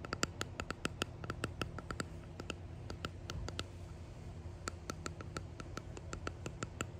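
Long painted nails tap and scratch a small clear hexagonal epoxy-resin box or coaster with dried flowers and gold flakes embedded in it. The result is a rapid, uneven series of short, dry clicks with a bright, hard tone around 1.3 kHz over a steady low hum.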